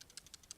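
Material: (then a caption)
Plastic. A Smok Procolor vape mod is shaken, and its fire button rattles slightly in seven quick, faint, bright ticks with no low end or ring. The fire button has a slight rattle that shouldn't be there.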